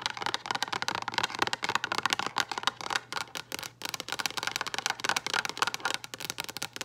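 Long acrylic nail tips tap rapidly and continuously on a hollow, frosted translucent plastic storage box with a lid. The result is a dense stream of dry, bright clicks with very short decay, a hollow plastic tone around 1 kHz, and almost no low end.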